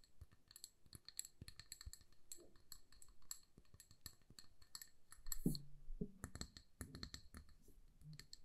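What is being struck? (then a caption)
Glass jar filled with candle wax. Long nails tap rapidly on the sides and base of a hand-sized amber glass jar filled with candle wax and wrapped with a paper label. The taps make quick, bright clicks and short glassy clinks over soft low thuds. There is one louder, fuller knock about halfway through.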